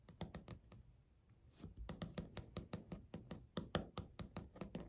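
Natural nails tap and click on a flat, solid beige speckled laminate countertop in close-up, making about 21 short, dry hits with almost no ring. After a brief run of taps comes a pause of roughly a second. Then a steadier, slightly louder stream of quick clicks follows, with a low, thuddy body and faint bright edges.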